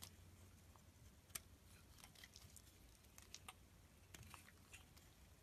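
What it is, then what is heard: Bar of soap being shaved. A box-cutter blade shaves thin layers off a solid blue rectangular bar of soap held in the hand. Quiet, dry scraping comes in short, bright, crisp strokes over a low, steady background hum.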